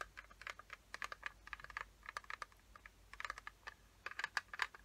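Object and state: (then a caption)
Plastic watercolor paint case. Long fingernails tap and scratch the lid of a small, closed, hollow yellow plastic watercolor palette case, producing about 27 quick, dry clicks in irregular bursts. Each click is short, bright and sharp, centered around 1.7 kHz, with no ring after it. The clicks grow louder toward the end.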